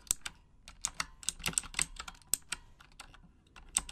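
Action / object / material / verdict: tap / plastic mechanical keyboard keys tapped with long nails / plastic / none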